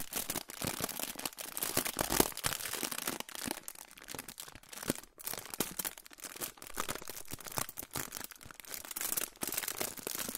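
A crinkled silver aluminium foil pouch is held in both hands in front of the microphone and crinkled and rubbed with the fingertips. The result is a dense, continuous stream of bright, crackling crinkles with short sharp snaps. There is little low-end weight.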